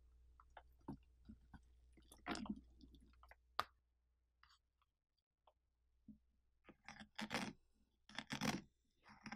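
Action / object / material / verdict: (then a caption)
scrape / pumpkin interior, pulp and seeds / pumpkin flesh / none. Bare fingertips scrape and rub wet pulp and seeds off the inner wall of a large, hollow, partly gutted orange pumpkin with its lid cut off. The sound is quiet, irregular, and close: soft wet squelches, crunchy scrapes, and small clicks, with a faint low hum beneath. Brighter, louder bursts of scraping cluster near the start and again near the end, with a near-silent stretch in the middle.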